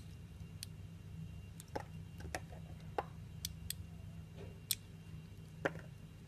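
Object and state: Glycerin soap being shaved.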